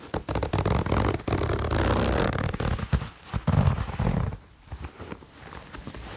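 A light grey ribbed fleece jacket's zipper is pulled up and down by fingers. The result is a series of low, rasping zips with scratchy fabric rustle, loud at first and then trailing off into softer rubbing.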